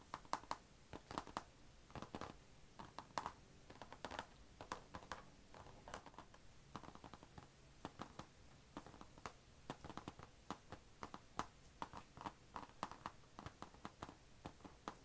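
Long nails tap and scratch around the chrome logo on the closed lid of an HP laptop, a thin, hollow, dark grey painted plastic/metal shell. About 57 quiet, dry clicks with a hollow midrange tone near 1 kHz stop almost instantly, with soft scratching between them.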